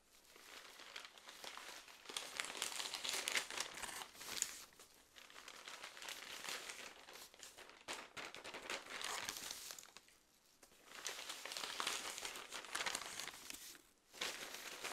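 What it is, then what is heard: Paper magazine pages rustled. A stapled paper magazine, *Skoleferie*, is held open in the hands while its pages are turned and rustled with the fingertips. The result is bright, crisp crinkling and rustling in uneven waves, with short quiet dips between page movements around the 8, 10 and 14 second marks.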